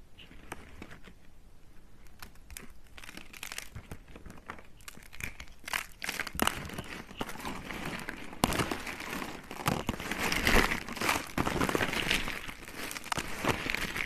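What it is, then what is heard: Dry soap curls being crushed. Blue and pink hollow dry soap curls on a cutting mat are crushed and snapped between fingers with long red nails. Dense, irregular dry crunching and crinkling crackles start quieter and grow louder and brighter toward the end, with sharp snaps standing out.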